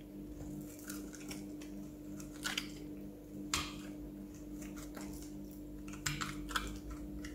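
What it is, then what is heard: Bar soap being scored with a blade. A metal utility-knife blade scratches and scores a grid into the surface of a single solid, palm-sized oval green bar of soap held in one hand, shaving off small flakes. Soft, dry scraping and brief crisp crunchy scratches with bright edges sit over a steady low hum.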